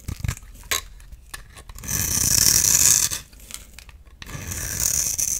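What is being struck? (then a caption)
Bar of soap scraped with a knife blade. A solid oval blue soap bar held in the palm is scraped and shaved with a utility knife blade, shedding powdery blue curls. A few short, dry scratches are followed by two longer, louder, bright hissing shaving strokes.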